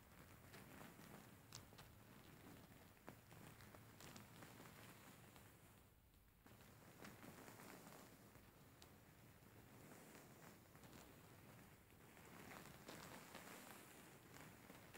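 Fingertips and nails scratch and stroke a grey faux fur stuffed cushion. A steady, soft rustling hiss runs throughout, with brief brighter scratchy accents and gentle swells and dips in loudness.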